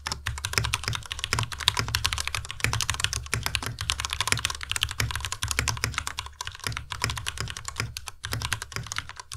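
Both hands' fingertips type continuously on a compact white Ducky Miya Pro mechanical keyboard with white plastic keycaps and Cherry MX Red switches. A rapid, steady stream of bright plastic clacks with a soft low thud under each press fills the clip, and every keystroke dies away almost instantly.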